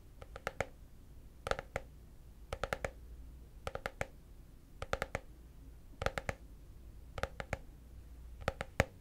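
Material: Plastic.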